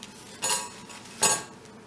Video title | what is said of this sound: Pain cocotte au thermomix pour tef original fr | On tapote et ça doit sonner creux